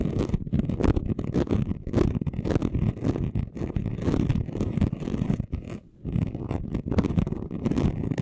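Short nails and fingertips of both hands scratch fast across a flat chunky gold glitter craft sheet lying on a table. The result is a dense, continuous run of rough, rapid scratching strokes with a low, grainy, rumbling texture. It dips briefly near the six-second mark before resuming.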